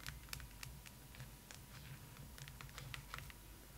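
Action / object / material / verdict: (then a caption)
tap / hard plastic doll head / plastic / none. Long pointed acrylic nails on both hands tap and scratch the face, cheeks and forehead of a large hollow hard plastic/vinyl Rapunzel-style fashion doll head lying on a pillow, tucked under a blanket. The result is a quick, uneven patter of short, bright clicks and light scrapes over a steady low hum.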